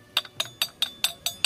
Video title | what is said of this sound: ANG BATO KINAKALAWANG BAKAL NA BATO | Ganun dapat yung tunog ng bakal.